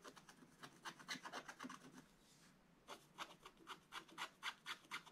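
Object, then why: Coated scratch-art paper scratched with a wooden stick. A pointed wooden stick held in the fingers scratches the black coating off a thin coated paper page of a scratch-art book lying flat on a table. Quick, bright, raspy strokes repeat at about two per second, pause briefly near the middle, then resume.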